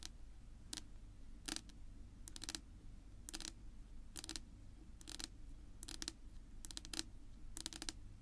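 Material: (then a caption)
Wood. Long pink nails tap and scratch across a flat, solid, dark wood-grain tabletop. Quiet clusters of quick, bright clicks come in short bursts about every second, with a faint scratchy texture between them. A steady low hum runs underneath throughout.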